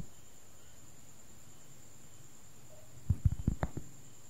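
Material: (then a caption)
Cork. A large, thin, round cork board, solid and flat, is held up close to the recorder while fingertips and nails tap and scratch its surface. After about three seconds of near silence with a faint steady high whine, a short burst of soft, dull, low taps arrives, with little ring after each touch.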